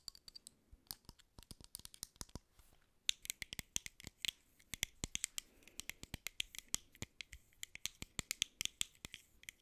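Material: Aluminium.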